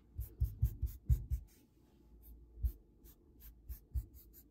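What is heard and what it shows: Grey knit sweater sleeves on the forearms slide and rub along a large, solid varnished wooden tabletop. The result is an irregular series of soft, low, muffled swishing strokes with brief bright fabric hiss. The strokes cluster densely in the first second and a half, then come more sparsely after a quieter stretch.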